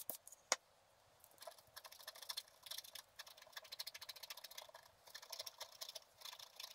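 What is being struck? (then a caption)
Black-coated scratch art paper card with wooden stylus. A wooden stylus scratches short strokes near the bottom of the picture on a flat, black-coated scratch art paper card. Two sharp ticks open the clip, then come quick bursts of dry, bright, raspy scratching with no low end.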